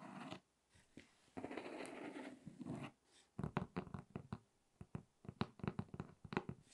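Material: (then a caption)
Cardboard. Long red nails scratch across the top of a closed, hollow, medium corrugated cardboard box in soft, raspy strokes. This is followed by a quick run of dull, hollow taps that die out almost instantly.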